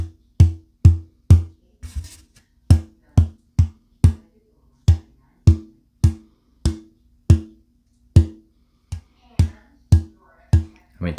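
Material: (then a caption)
Spruce. A non-torrefied old growth Adirondack spruce top is tapped repeatedly in the same spot. Short, low, woody knocks centered around 86 Hz decay quickly. The tap tone is stiff and hard, possibly from more moisture in the untreated wood.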